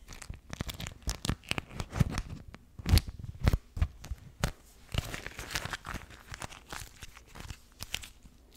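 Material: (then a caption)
Waxed cotton. Both hands crumple and rub a pink floral beeswax wrap, a thin waxed cotton fabric sheet, right at the mic. The result is a dense run of crisp, crackly crinkles and tearing-like rustles, with deep, close thumps under the louder squeezes.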